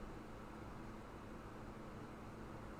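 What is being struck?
Nothing is struck.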